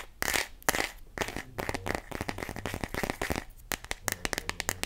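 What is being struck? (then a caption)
Clear plastic phone case. Long nails tap and grip an empty, clear plastic glitter phone case, a hollow, thin shell. The result is a run of sharp, dry clicks and brief crinkly scrapes with a bright ring near 1.9 kHz. The taps grow quicker and more evenly spaced toward the end, and each one dies away almost at once.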